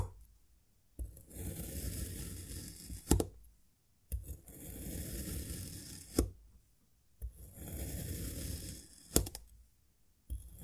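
A serrated metal knife cuts thin slices from a small solid cylinder of yellow kinetic sand molded from a cup, the blade pressing and scraping through the packed sand down to the board. Three slow, gritty, low-heavy scraping strokes are heard, each beginning with a soft touch and ending in a sharp tap as the blade meets the board, with short silences between slices.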